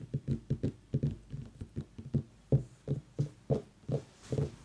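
A pumpkin is tapped repeatedly in an irregular rhythm, giving 14 short, dull, low thuds that die away almost at once. Each tap has a soft hollow body around 137 Hz and no bright ring.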